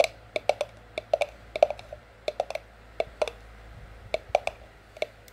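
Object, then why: Ceramic mug with cardboard sleeve. Long French-tip nails tap on a white cardboard sleeve wrapped around an empty, hollow white ceramic mug. About 20 sharp, dry clicks come in an uneven rhythm, each with a short hollow knock near 600 Hz and a bright top that dies away almost instantly.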